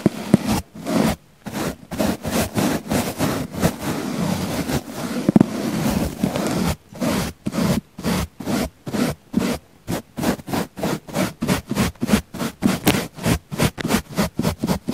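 A wooden-handled paint brush sweeps across the edge and surface of a round, palm-sized pink foam sponge that is solid and soft. Soft, dull scratchy brushing with a low-mid body is heard, first as longer, near-continuous strokes, then as a quicker run of short, evenly spaced strokes separated by silence.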